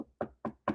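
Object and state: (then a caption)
Knocking on a wooden surface. Knuckles knock on a wooden surface, likely a desk, as a superstitious "knock on wood" gesture to avoid jinxing something. Three short, dry knocks ring out evenly spaced, each a quick midrange thud that fades almost immediately.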